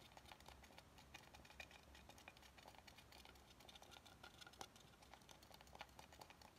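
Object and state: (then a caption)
Wooden cutting board. Fingernails scratch and tap along the rounded edge of an oval, solid wooden cutting board held horizontally. A steady stream of quick, dry clicks and taps with scratchy, bright texture runs throughout, each tap dying away almost instantly over a faint low hum.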